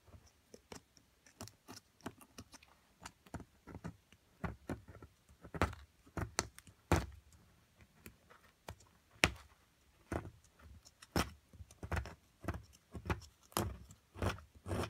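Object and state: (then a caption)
Metal chisel chipping a solid plaster block. A metal chisel chips and scrapes at a solid plaster mound, the excavation block of an amethyst crystal kit. Quick, dry clicks and taps land in an uneven rhythm, each with a soft low thump and a brief bright crack that dies away almost at once. Faint scraping fills the quiet gaps between the hits.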